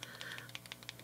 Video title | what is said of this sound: Exciting New Pentel SPARKLE POP Product! [This is a Game Changer] | you can hear the little ball in it